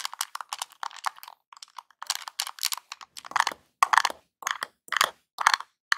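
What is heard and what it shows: Fingertips tap the buttons of a small, hollow NES-style plastic game controller, then a metal claw nail taps its D-pad. The result is a string of quick, dry, clicky taps with no low end, in an irregular rhythm. The taps are lighter and softer at first, then louder, sharper and brighter once the nail starts.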